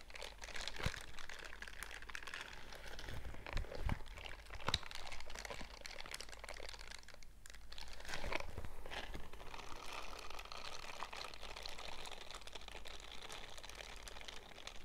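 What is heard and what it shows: A pair of purple silicone dishwashing gloves with bristle pads, worn on both hands, is squeezed and rubbed together so the bristles brush against bristles and smooth silicone. The result is a continuous soft crinkling, crunching and brushing texture with many quick, crackly ticks and a bright hiss, swelling slightly midway before settling back to a steady rub.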